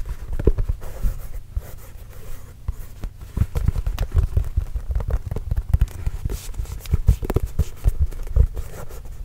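A full-size orange, signed Spalding leather basketball, hollow and inflated, is held close and tapped with the fingertips. It makes a quick, irregular run of soft, dull, deep thumps with almost no ring and nothing bright above them.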